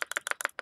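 A Sigelei Bagua V3 mechanical vape mod is shaken to check the 510 connector height, giving a quick series of sharp, bright metallic clacks as the loose battery knocks around inside the metal tube. The rattle means the contact screw is not tightened enough.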